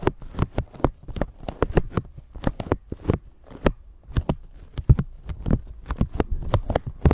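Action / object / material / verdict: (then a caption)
scrape / thin plastic bag / plastic / none. A thin clear plastic bag stretched over a microphone is crinkled with long nails and fingertips. The result is a rapid, uneven run of sharp crackles and taps over a low, thumping rumble from handling of the microphone underneath.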